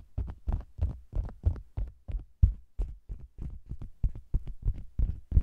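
Long green nails tap and scratch the lower edge and sides of a round, red faux leather cosmetics bag that is hollow with a microphone inside. The result is a quick, uneven series of deep, muffled thumps, boomy and heartbeat-like, each with a faint brief rustle on top and almost no ring.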